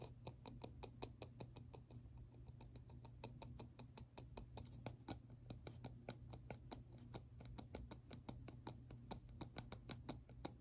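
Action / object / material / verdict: tap / small ridged plastic lid / plastic / none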